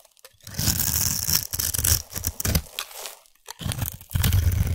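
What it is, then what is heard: Bar soap being scraped. A utility knife blade scrapes the surface of a partly shaved, solid orange bar of soap held in one hand, shaving it into dry, crumbly flakes. The scraping comes in crunchy, crackling bursts with a low, rough body and a bright, crisp hiss, separated by brief pauses.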